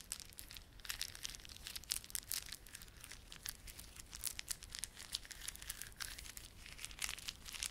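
A small clump of plastic garland, with solid, glossy dark blue and silver plastic beads and a red spiky plastic fringe, is held in both palms while fingertips rub and squeeze it. The result is a quiet, continuous stream of dense, bright clicking and crinkling, with sharp ticks rising over the hiss throughout.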